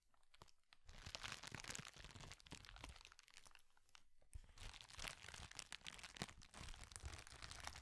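A clear plastic bubble wrap sheet is held in both hands and crumpled and twisted with the fingers. It makes dense, bright crinkling and sharp crackling that runs almost without pause, with a brief lull near the middle before resuming.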